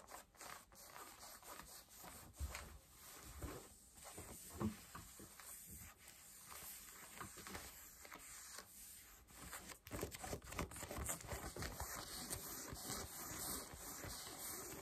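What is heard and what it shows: Long nails scratch and rub pale yellow denim jeans on the front and on a raised leg, making quiet, irregular scratchy rasps and soft fabric rubbing with a faint steady high tone underneath. The scratching grows denser and slightly louder in the second half.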